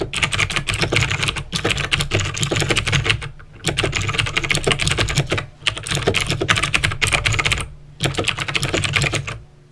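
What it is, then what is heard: Mechanical keyboard with clicky switches. Fingertips with short painted nails type on the keys of a full-size backlit plastic mechanical keyboard with clicky green switches. Rapid, bright clicks run in bursts separated by short pauses, over a low steady hum.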